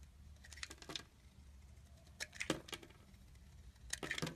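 A utility knife blade carves and shaves curls off the surface of an oval, palm-sized, solid green soap bar with an embossed logo, held in hand. Short, crisp, bright crackling scrapes come in clusters near the start, the middle and the end, each dying away almost instantly. Between the clusters there is a quiet, steady low hum.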